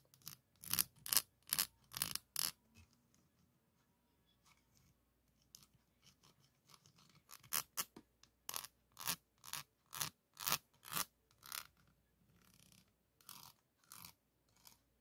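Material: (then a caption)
Steel mesh. A flat wooden popsicle stick is scraped and rubbed over a hollow, dome-shaped woven steel mesh microphone grille. It makes quick, bright, raspy strokes with almost no low end, in short bursts separated by quieter pauses. The strokes are soft and dry, stopping dead with no ring.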